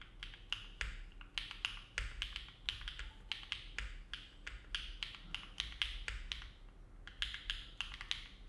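Fingertips of both hands type continuously on a compact Neo70 mechanical keyboard with an aluminum plate, foam dampening and dark GMK plastic keycaps, resting on a desk mat. The result is a steady, unhurried stream of soft, crisp key clicks with short, dry decays, bright and centered around 3 kHz, over a low, quiet background hum.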